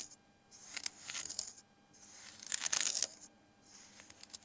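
A metal kitchen knife slices and scrapes through a flat, crumbly layer of pink kinetic sand spread on a dark surface. Three bursts of bright, crisp, grainy crunching and scraping are heard, separated by near-silent pauses, with almost no low end.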